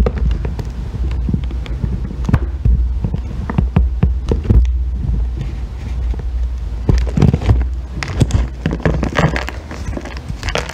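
A solid green bar of soap is shaved with a metal loop tool into curly ribbons, then lifted in hand. Short, sharp scraping strokes and clicks rise over a steady low hum, with a denser burst of scraping near the end.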